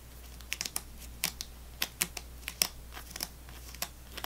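A fingernail taps and scratches along the row of foil-wrapped sticks in a full plastic gum tray. About fourteen short, bright, crisp clicks and crinkly scrapes come at an irregular pace over a faint, steady low hum.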